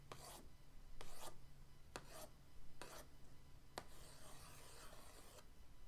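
The end of an orange paintbrush traces over the lid of a flat, printed cardboard paint-set box, making repeated dry, scratchy rubbing strokes with a bright, hissy texture. The strokes come at uneven intervals over a steady low hum, and the last one stretches into a longer, softer rub.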